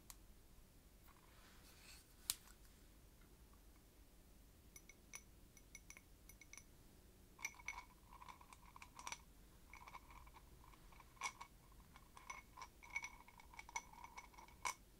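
Long nails tap and clink on the rim and sides of a small open glass jar, lid off and full of clear crystal-like beads, held up in one hand. Quiet, bright glassy clicks with a short ring and faint tones near 1 kHz and 2 kHz come in irregular taps, sparse at first and then busier in the second half.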